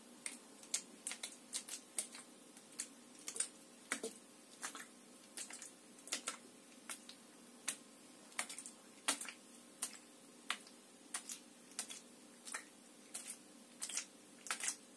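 Long nails tap a clear, hollow, empty plastic water bottle with an orange cap held in one hand, making quiet, sharp, bright clicks in an uneven, steady stream over a faint constant hum. Each tap is dry and dies away almost instantly, with a light tick rather than any ring.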